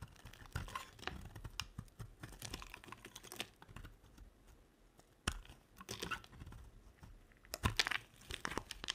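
A red-handled blade scrapes crisp shavings off the surface of a dry, solid green soap bar held in one hand. A rapid series of short, dry, crunchy scraping strokes with bright crackle, some louder flicks standing out near the end.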